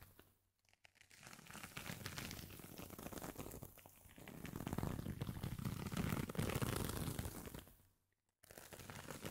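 A round, flat, palm-sized woven jute or straw coaster with a dark crocheted fabric rim is held in both hands and scratched and rubbed with the fingertips across its woven surface. It makes a dense, crinkly scratching and rustling that starts quiet and swells into fuller, low-heavy friction. The sound drops to near silence for a moment just after 8 seconds before the rubbing resumes.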